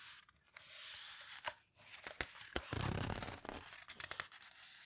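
Fingers with long red nails squeeze and turn the heavy paper pages of a large open photo book, a paper houseboat book. Soft papery rustling and crinkling are broken by sharp crackles and snaps, with a brief low, rumbling swell as a page is pressed and turned over.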